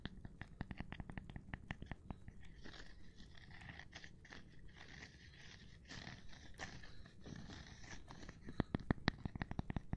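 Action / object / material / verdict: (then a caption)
tap / cork board / cork / none. A gloved hand taps on a cork board in quick, uneven bursts of short, dry, low-heavy knocks that die away instantly. A stretch of softer, continuous scratchy texture follows before the quick tapping returns, growing slightly louder at the end.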